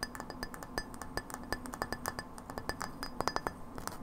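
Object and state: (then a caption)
Frosted glass light bulb. A hollow frosted glass light bulb, held horizontally, is tapped quickly and irregularly with long nails. Each tap gives a light, bright clink with a brief high ring that dies away almost at once, over a soft low hum.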